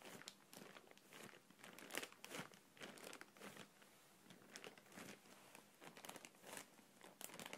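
A clear printed plastic air cushion packaging pillow, hollow, is stroked and squeezed with the fingertips, then held in both hands and crinkled. Soft, bright crinkling and crackling come in a steady run of short rustling bursts with little low end.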